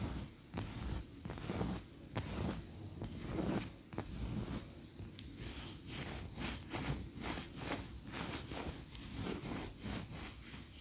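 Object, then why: Wax pillar candle. Long fingernails scratch and rub a large cream solid wax pillar candle standing upright. Dry, scratchy strokes repeat unevenly, with bright streaks over a soft low rumble at a quiet level.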